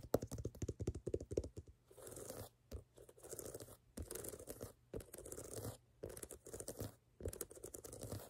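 Fingertips and nails tap and scratch across the tread ridges of the ridged brown solid-rubber outsole of a canvas platform sneaker held in hand. Quick clusters of dull, sharp taps give way to repeated bursts of dry, rasping scratching with short pauses between them.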